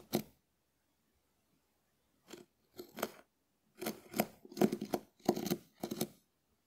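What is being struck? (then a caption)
Dried porous konjac sponge scraped with a wooden spoon. A hand-sized, shell-shaped, porous dried konjac sponge held in the hand is scratched and rubbed with the back of a small wooden spoon. The result is soft, dry, crisp scraping strokes. An isolated stroke comes first, then a few after a pause, then a denser run of scrapes toward the end.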